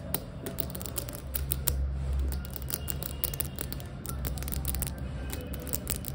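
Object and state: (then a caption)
Ceramic floor tile, tapped and scratched. Long acrylic nails tap and scratch fast with both hands on a large, glossy polished ceramic/porcelain floor tile with a solid flat surface. Rapid, irregular sharp clicks with bright edges mix with scratchy rasps over a steady low hum.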